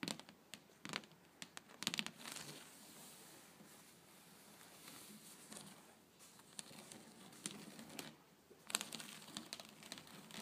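Long blue-painted nails tap and scratch across the surface of a flat woven wicker (rattan) tray, a solid woven mat. Sharp, bright clicks come in bursts near the start and again near the end, with a dry, crinkly scratching rasp over the weave in between.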